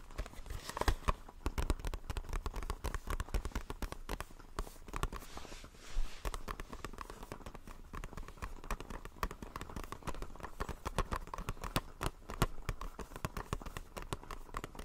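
A small, hollow retail blister pack, a clear plastic shell on a white printed card, is held in the hands and tapped and scratched with fingertips and nails. Quick, dense clicks and crinkly scratches run continuously with a soft, low hollow thump beneath them. Each tap is short and dry with almost no ring.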